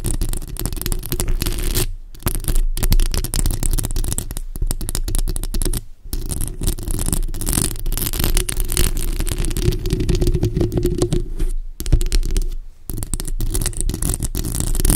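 Long acrylic nails on both hands scratch and tap the hollow, rounded, fist-sized metal mesh grille of a bare black microphone. The result is a dense, continuous, boomy scratching rumble, heavy in the low end with crackly texture above. A few brief near-silent gaps break it up.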